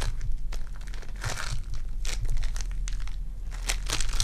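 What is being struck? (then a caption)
Foam bead clay. Purple foam-bead clay is kneaded and pulled between fingers with long dark nails, giving dense bursts of bright crinkling and crackling. A steady low hum runs underneath throughout.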